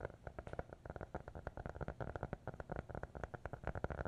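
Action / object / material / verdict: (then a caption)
tap / hardcover notebook with board cover / cardboard / none. A small black hardcover notebook, closed and held in both hands, is tapped and scratched with fingertips and nails. It makes a quiet, rapid, uneven run of soft, dull taps with a low, hollow body and almost no ring. Faint scratchy rustling fills the gaps between them.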